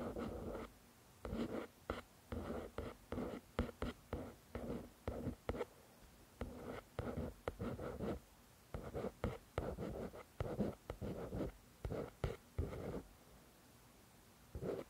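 Long nails scratch and tap the front cover of a paperback copy of "The Shack," a solid paper book. Short bursts of dry, soft scratching and light taps come in quick clusters separated by brief quiet pauses, with a dull low-mid tone and little brightness. Each sound stops almost at once, with no ringing.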